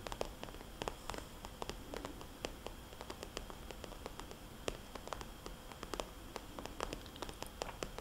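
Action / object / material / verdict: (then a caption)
tap / glossy plastic cosmetics bag / plastic / none. A small red polka-dot glossy plastic cosmetics bag, a hollow pouch held upright, is tapped and traced with fingernails and fingertips. Quick, sharp, bright clicking taps come in a steady irregular stream over a soft, constant scratchy rustle. Each tap dies away almost at once, and the whole clip stays quiet.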